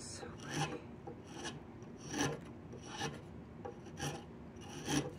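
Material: Wood.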